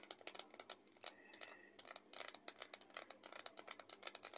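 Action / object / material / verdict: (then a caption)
tap / paper envelope / paper / none. Long acrylic nails tap and crinkle a small, flat, empty-looking white paper envelope or folded paper held in both hands at chest height. Quiet, bright, crisp clicks and papery crackles come in rapid bursts with almost no low end, broken by a short softer lull near the middle.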